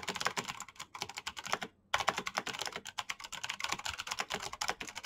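Both hands type fast with their fingertips on a black plastic backlit mechanical keyboard, producing a rapid stream of bright, clicky key taps. A brief pause breaks the typing just before the two-second mark, and then the quick clacking resumes steadily to the end.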